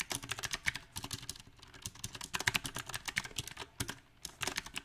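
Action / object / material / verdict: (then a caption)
tap / mechanical keyboard with round plastic keycaps / plastic / none. Fingertips type in an uneven rhythm on a backlit compact mechanical keyboard with round typewriter-style plastic keycaps on a silver metal frame. The keys give short, bright, crisp clacks that die away almost instantly. Bursts of quick keystrokes are broken by brief pauses.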